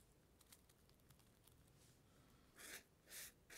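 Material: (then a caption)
Paper. A black plastic comb is drawn across the glossy paper page of an open magazine showing a portrait photo, in combing strokes. Faint, soft ticking and scratching is followed by three louder, bright, airy scraping strokes near the end.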